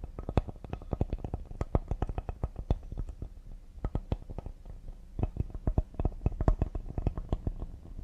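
A flat, solid cedar serving board with a handle, held upright, is tapped quickly on its face and edges with fingertips and nails. Dozens of short, dry, low wooden taps come in rapid, uneven bursts, with brief high clicks from the nails and almost no ring after each hit.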